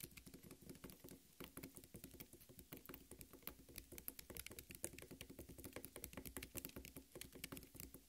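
Long red nails rapidly tap and patter on the red flesh of a half watermelon, making a dense run of quick, soft, damp clicks with a low thud beneath and bright crisp tips. The taps come too close together to count, and each one dies away almost at once.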